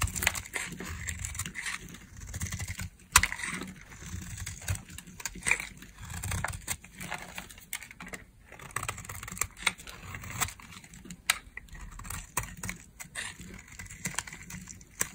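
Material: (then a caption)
Soap. A metal blade carves and scrapes curls off a dry, solid, palm-sized, rounded cream-colored soap bar held in the hand. Quiet, dry, brittle scraping and crisp crackling come in repeated strokes, with bright, short, sharp snaps and a soft low rumble underneath.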